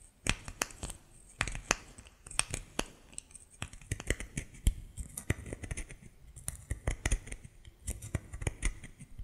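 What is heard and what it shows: A solid white bar of soap, held in both hands, is scratched and pressed with fingernails. It makes a quick, irregular series of sharp, dry clicks and crackles with bright, scratchy highs. Each sound dies away almost instantly.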